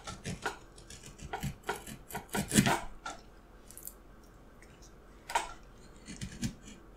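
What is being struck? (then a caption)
Wooden carving block worked with a steel knife. A steel carving knife cuts and scrapes the surface of a solid, light wooden block held upright in one hand. Short, dry, crisp cuts and scraping strokes come in quick bursts with bright edges and almost no ring. They pause briefly in the middle, then a few more strokes follow.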